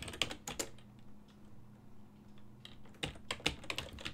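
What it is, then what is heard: Plastic computer keyboard. Fingertips of both hands type on a full-size black and silver plastic desktop keyboard whose keys sit on a hollow body. Bright, short key clicks come in a quick burst at the start, fade to a quiet stretch with only faint taps and a low steady hum, then return as a denser run of crisp clacks toward the end.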